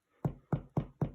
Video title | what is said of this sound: Focaccia tutorial by The Vox Deputy Head Chef, John Graham-Carr | you can hear that hollow sound that you're looking for